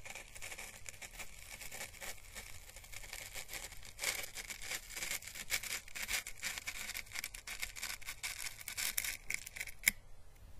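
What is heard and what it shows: The bristles of a paintbrush are slowly brushed over the thin papery ribs of a small, hollow, dried orange Chinese lantern husk, a papery plant calyx held by its stem. The result is a steady, bright, airy scratching with soft crinkly crackles centred around 2.2 kHz. A sharper crackle stands out near the end.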